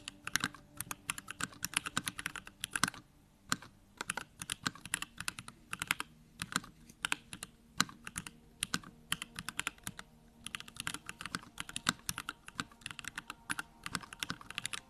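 Fingertips type steadily on a compact Bakeneko65 mechanical keyboard with a pink case, plastic keycaps and Durock lavender switches. The result is a quick stream of short, bright clicky clacks with almost no ring, broken by brief pauses near 3 and 10 seconds.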